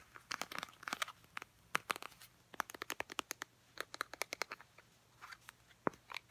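Long painted nails tap and scratch a small, filled Clean & Clear face wash squeeze tube made of soft plastic. About thirty quick, dry, crunchy clicks come in uneven bursts, bright and crisp with almost no low end. Each click stops at once without ringing.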